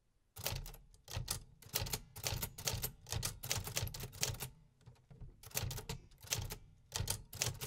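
A 1950s Remington Quiet-Riter metal typewriter is typed on continuously with fingertips on the keys. Bursts of sharp, bright mechanical key clacks with a low thump beneath come in quick clusters with brief gaps between them.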